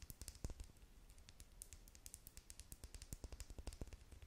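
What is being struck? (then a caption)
Plastic lip gloss tube. Long nails tap quickly on the side of a small clear plastic lip gloss tube with a metallic cap, partly filled with pink gloss. A quiet, steady run of dozens of crisp clicks follows, each a bright tick over a soft low thump that dies away almost instantly.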